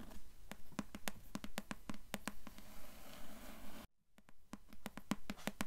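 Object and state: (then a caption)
Cloth-bound hardcover book. Long nails tap and scratch on the grey cloth-covered board cover of a closed hardcover book. Quick, fairly regular taps land in a steady patter, each a short, dull knock with a bright click on top, over a soft scratchy hiss. A brief silence near the middle breaks the run before the tapping resumes.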